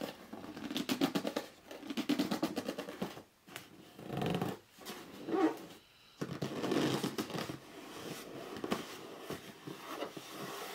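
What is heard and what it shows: A hollow red cardboard box is briefly held up and then laid flat while fingers grip its edges and short nails scratch across the top. Rapid, dense scratching and rubbing comes in bursts with a hollow, papery body in the low-mid range. Brief quiet gaps separate the bursts before the scratching resumes.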